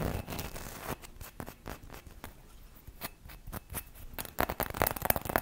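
Long red nails scratch and tap quickly across a hollow gold ribbed Christmas bauble, apparently glass, held close to the mic. Dry, short clicks and raspy scrapes come in rapid bursts. They grow louder and brighter toward the end, with faint glassy pings.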